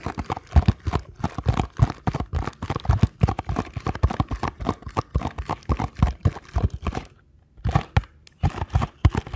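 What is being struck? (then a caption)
Small paperboard box. A small paperboard ankle support box is tapped rapidly on its side and face with fingertips, then turned over in the hands. The taps are dull, hollow and low, with short thumps and little brightness. A brief quiet gap near seven seconds is followed by more scattered taps and handling.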